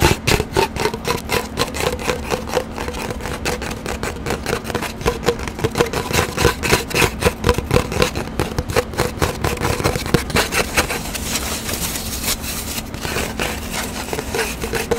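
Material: Cardboard.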